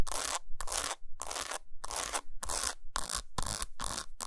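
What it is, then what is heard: Dark chocolate bar, scratched and tapped with nails. Long nails tap and scratch across an unwrapped, solid dark chocolate bar with square segments and a line pattern, resting on a towel. Quick, irregular bursts of bright, crackly scraping alternate with short pauses, over soft low thumps from the taps.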